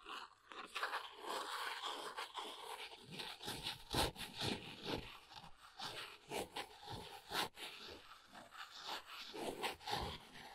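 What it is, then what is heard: Cardboard box being scratched. Fingernails scratch along the corner and edges of a small brown cardboard box, then the box is held in both hands. The result is a dry, bright, crackly rasping made of irregular scratches and crunchy bursts, with a few sharper louder strokes standing out.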